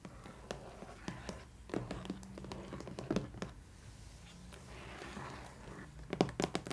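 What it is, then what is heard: Cardboard box tapped. Long nails and fingertips tap and knock on the lid of a long, rigid, glossy cardboard box printed with a colorful dot pattern, hollow with a doll inside, first as it rests on a table and then as it is lifted. The result is a scattered run of short, dry taps and knocks: bright clicks from the nails over soft, hollow low thuds. Each hit dies away almost at once over a low, steady background hum.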